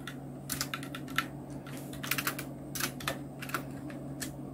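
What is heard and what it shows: A full-size black Nubwo Illution NK-70 mechanical keyboard with Outemu Red switches, round plastic keycaps and blue backlight is typed on continuously with the fingertips of both hands. Quick, bright plastic clicks and clacks come in irregular bursts over a steady low hum.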